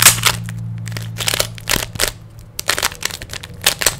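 A small solid plastic 3x3 Rubik's cube has its layers turned rapidly by fingers, producing a quick run of bright, typewriter-like clicks and crackling snaps in uneven bursts. A steady low hum sits underneath for the first half of the clip.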